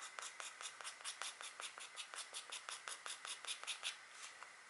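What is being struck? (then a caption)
Wax-coated scratch art card. A stylus scratches fine hatching near the head of an etched deer on a flat black, wax-coated scratch art card while the other hand rests on the card. Seventeen quick, dry, bright scratching strokes come in a loose, uneven rhythm, each fading almost at once, with no low end.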